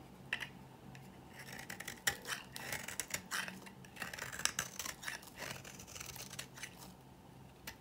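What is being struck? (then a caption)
Bar of soap scraped with a metal blade. A metal blade scrapes a dry green bar of solid soap, peeling off shavings. Bright, dry scratching and crisp rasping come in uneven bursts with short, sharp clicks. Nothing rings on, and the bursts sit over a faint low hum.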